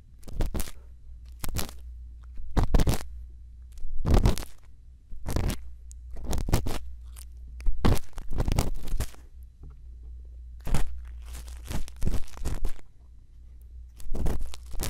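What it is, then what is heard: Silicone ear scraped with a bamboo earpick. A thin bamboo earpick scratches inside the ear canal of the left silicone ear of a binaural microphone. Repeated short crunchy scraping strokes come in clusters over a steady low hum, with quiet pauses between them.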